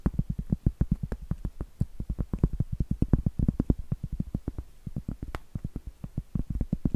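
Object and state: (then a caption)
Cork trivet. Long acrylic nails tap and scratch the flat face of a round, solid cork trivet held upright, making about fifty rapid, dull, low thuds in uneven bursts. Each tap dies almost instantly, with faint scratchy texture between them.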